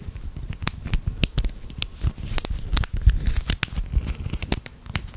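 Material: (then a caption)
Plastic. A small hollow plastic click-link fidget chain with red and blue segments is folded and twisted between the fingertips of both hands. Its links give a rapid, uneven series of sharp, bright clicks and rattles over a soft low rumble, each click dying away almost instantly.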